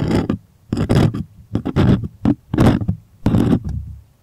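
Fingernails scratch and tap the taut surface of a white stretched primed cotton artist canvas held close. The result is bursts of dry, broadband rasping with soft low thumps, separated by brief silences.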